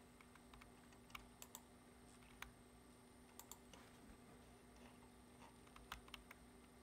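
One hand types steadily with its fingertips on a black plastic computer keyboard resting on a wooden desk. The result is a quiet run of short, sharp key taps with bright clicks, set against a faint steady hum and a thin high tone.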